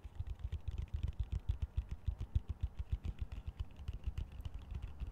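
A fingernail taps and scratches the slotted sides of a large, hollow, empty green plastic colander held upside down. It makes a rapid, uneven patter of short, dull, low-pitched taps with faint scratchy clicks between them, and each tap dies away almost instantly.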